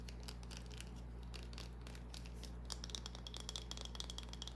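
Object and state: Bar of soap scratched with nails.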